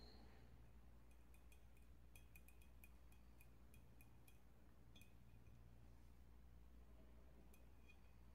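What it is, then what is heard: Ceramic oil burner tapped with nails. Long metallic nails tap rapidly around the body of a hollow, medium-sized, dark glazed ceramic oil warmer with a lit tealight inside. The result is quick, light, bright clinks that ring briefly over a steady low hum.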